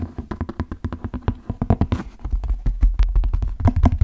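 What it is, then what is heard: Leather cowboy boot. Fingertips tap and scratch a large brown stitched leather cowboy boot, hollow and empty, held by the shaft. About thirty quick, irregular taps land as dull, low, hollow thuds with short bursts of scratching between them, each dying away almost at once.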